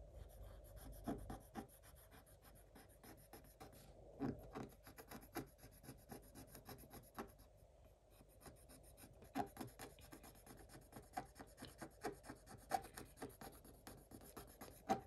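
A thin wooden stylus held in the fingertips scratches small areas of a black coated scratch-art paper page. Soft, dry scratching strokes come in quick, uneven bursts with brief pauses, each stroke short and without ring. The sound stays quiet and close, with a faint bright rasp over a low papery rustle.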